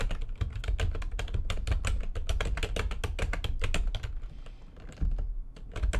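Fast typing with long nails and fingertips on a full-size plastic computer keyboard with white backlighting and a hollow housing gives a rapid stream of short, bright key clacks over a deep, hollow thump. The keystrokes run densely, thin out briefly before the five-second mark, then pick up again.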